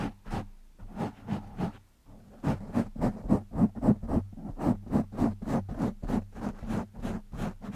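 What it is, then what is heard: Foam microphone windscreen being scratched. Fingertips of both hands scratch a black foam windscreen on a microphone. The result is a steady run of rough, close scratching bursts, each with a low hum around 200 Hz and a bright hiss. The bursts come about three to four per second and grow denser and louder after a short pause near the two-second mark.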